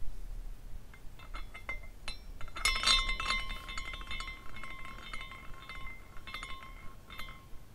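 A small glass carousel figurine spins while its glass horses swing and knock together, producing an irregular series of delicate, bright clinks and chimes. A clear ringing tone near 1 kHz sustains beneath the tinkling, and the hits cluster most densely around the middle before thinning into sparser clinks.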